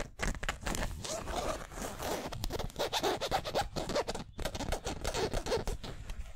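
Nails and fingertips scratch the twill lettering on a yellow San Francisco basketball jersey made of polyester mesh. The result is a dense run of dry, raspy scrapes with quick stops and starts, its bright texture spread over a low rumble.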